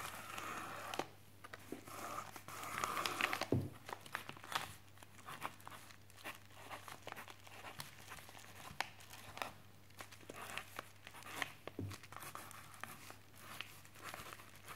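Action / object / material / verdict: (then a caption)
scrape / plastic postal mailer bag scratched with a wooden stick / plastic / none. A wooden chopstick tip traces and scratches across a white plastic postal mailer lying flat on a desk. Quiet, irregular crinkling and scratchy rasps come in uneven bursts over a faint, steady low hum.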